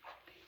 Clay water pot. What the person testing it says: ही वाजते खूप अशी खणखण वाजते हा खणखण आवाज येतोय तिचा